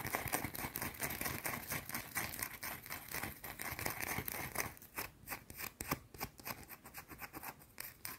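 Long dark nails scratch fast at a round, solid white bar of soap held in the fingers. The first half is a dense, continuous run of crisp, bright scraping. It then breaks into quicker, separate strokes with short gaps between them.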